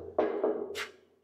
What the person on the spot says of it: So yung hagdan niya, so medyo siguro hindi lang sobrang solid, pero mukhang namang matibay po.